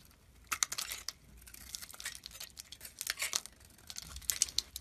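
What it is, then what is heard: Bar of soap being carved. A hand-sized solid white bar of soap with a thin blue-green outer layer is held in hand and scraped and carved with a metal blade. Dry, high, crinkly scraping and crisp snapping cracks come in quick bursts as chunks break off.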